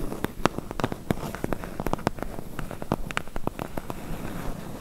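Long nails tap very fast on the front bottom edge of a medium, closed, hollow corrugated cardboard box. A rapid, uneven patter of dry, sharp clicks sits over a dull, low, hollow body, each tap dying away instantly with no ring.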